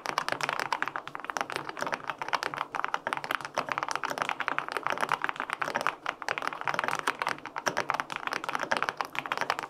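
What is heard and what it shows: Fingertips type quickly on the plastic keycaps of a white-pink full-aluminum 65% mechanical keyboard with linear switches. The result is a steady, dense stream of short, dry, clacky key strikes centered in the midrange, with very little low end and almost no ring after each press.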